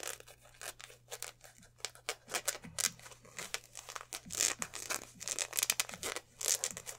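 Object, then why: Polyester sports jersey. Two hands hold up a black polyester basketball jersey, stretching, crumpling and rubbing the fabric near the lettering. Quick bursts of bright, crisp rustling and crinkling rise and fall in a steady run, over a faint low hum.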